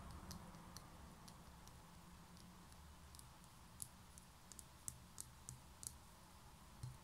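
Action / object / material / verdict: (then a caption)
tap / small concrete pen holder / concrete / none. Long nails tap and scratch the textured outer wall of a small, hollow grey concrete pen holder held in one hand. Quiet, sharp, bright clicks with almost no ring are scattered over a soft scratching hiss and a low rumble, growing more distinct toward the end.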